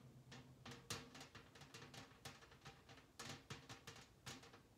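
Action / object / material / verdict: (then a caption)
tap / round metal cookie tin / metal / none. Long nails and fingertips rapidly drum and tap on the printed lid of a large, round, hollow Harry London metal cookie tin. The quick, uneven run of taps sounds resonant and drum-like: bright clicky nail attacks ride over a low ringing tone near 98 Hz, and each hit decays fast.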